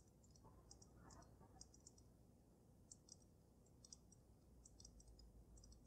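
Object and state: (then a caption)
Glass snow globe. Fingernails tap on the sides of the glass dome of a water-filled dragon snow globe with glitter. The result is a quiet series of bright, sharp clicks that die away almost instantly, some in quick clusters, over a steady low hum.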